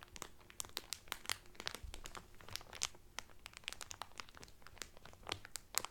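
Hands crinkle and rub the clear cellophane wrapper on a flat, cellophane-wrapped cotton Carnival Cruise towel. Dense, bright crackles and sharp snaps come in rapid, uneven bursts over a soft rustle, with a faint low rumble beneath. Each snap stops almost instantly, with no ring.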